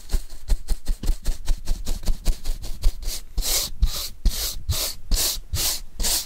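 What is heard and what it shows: A paintbrush brushes across a flat brown corrugated cardboard sheet held upright in a hand. Quick, dry scratchy strokes come in a fast rhythm for the first few seconds. They then give way to slower, longer sweeps with a brighter, airy hiss.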